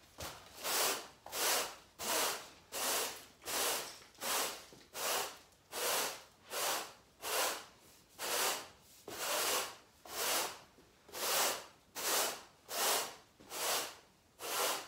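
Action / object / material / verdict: scrape / woven natural-fibre carpet swept with a stiff broom / natural fibre / none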